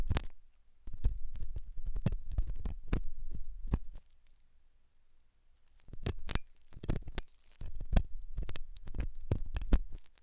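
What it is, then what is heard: Silicone ear model scratched with a metal tool. A hooked metal dental tool scratches inside the ear canal of a white, translucent, soft solid silicone rubber ear, likely mounted on a binaural ear microphone. The result is dense, muffled, low-pitched scraping and thumping, with a few sharper, brighter clicks. The scratching comes in bursts, with a near-silent pause in the middle before it resumes.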